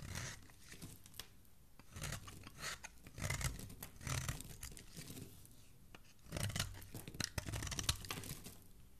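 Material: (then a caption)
Soap. A metal blade scrapes and carves curls and flakes off a palm-sized, purple-and-white striped solid bar of soap held in fingertips with dark nails. Soft, crunchy shaving and tearing sounds come in uneven bursts, with a low rumble under bright, crisp scrapes and short clicks. Quieter pauses fall between the strokes.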